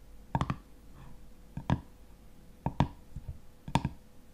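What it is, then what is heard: Metal jar lid. Fingernails scratch and tap the top and ridged edge of a black metal screw lid on a full glass honey jar. They make short, quiet clusters of dry clicks in four bursts. Each click has a low, hollow body and dies away almost at once.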